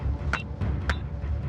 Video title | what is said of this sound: UNSOLVED MYSTERY: Australia's First 4 Billion Years - Full Documentary [HD] | bang it together it sounds like metal